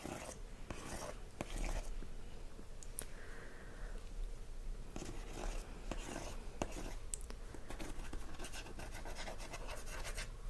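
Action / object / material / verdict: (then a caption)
scrape / printed cardboard DVD box sleeve / cardboard / none. Fingertips and short nails tap and scratch the front of a handheld, hollow Fawlty Towers DVD box set with a printed cardboard outer sleeve, while a cat sits still nearby. The sound is quiet and dull: short, dry taps with no ring, mixed with continuous soft scratching and rubbing, mostly in the low range.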